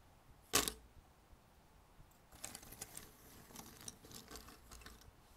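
Fingers dig into and stir a pile of thin cardboard jigsaw puzzle pieces on a red table. A single sharp, bright click comes first, then a quiet pause, followed by a steady stream of light, crisp clicks and rattles as the pieces shift against each other.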